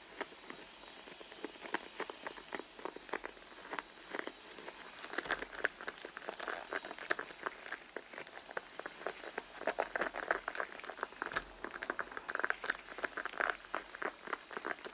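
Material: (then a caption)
Leather. Long blue nails and fingertips tap and scratch the side of a medium, soft, hollow red pebbled-leather handbag lying on a mat, while a metal charm bracelet is worn on the wrist. The result is a quiet, steady stream of rapid, short clicking taps and dry scratches, centered in the midrange with bright edges and no low rumble.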